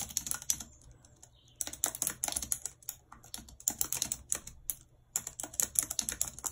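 Long red acrylic nails type rapidly on a white low-profile plastic wireless keyboard with a full number pad and hollow housing, lying flat on a map-printed surface. The keys give bright, crisp clicks that stop almost instantly, coming in quick bursts separated by short pauses.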